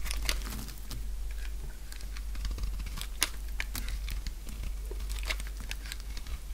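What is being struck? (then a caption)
Bar of soap cut with a blade. A purple solid dry soap bar held in the hand is scraped and shaved with a utility knife blade, making crisp, crunchy cuts. Many short, bright scraping crackles come in quick succession over a steady low hum.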